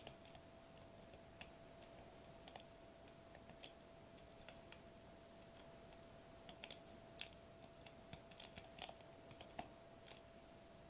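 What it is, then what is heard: Foil bubble wrap sheet. Fingertips tap and scratch a sheet of foil-laminated plastic bubble wrap lying flat on a table, producing quiet, scattered sharp clicks and bright crinkly ticks that die away almost instantly. Underneath runs a steady low hiss and a faint constant tone near 650 Hz.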